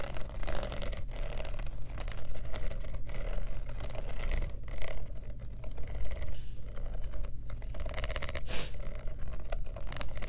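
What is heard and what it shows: Long nails tap quickly on the metal studs of a black studded faux leather clutch purse with a metal clasp. The result is a rapid, steady stream of short, dry clicks over a constant low hum.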